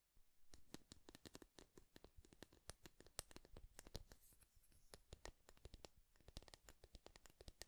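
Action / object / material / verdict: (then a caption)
scrape / wooden wide-tooth comb / wood / none. A light, solid bamboo or wood wide-tooth comb with a handle is held in both hands while fingertips and nails strum and scratch along its teeth. The result is a quiet, rapid series of short, dry, bright clicks and ticks with a low thump underneath, each dying away almost instantly.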